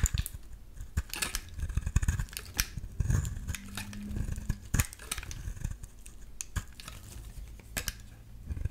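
A solid yellow bar of soap, held in the hand, is scraped with a metal utility-knife blade. It makes a quick, irregular run of dry, crisp scratching clicks with bright edges over a soft low rumble, each stroke cutting off almost at once.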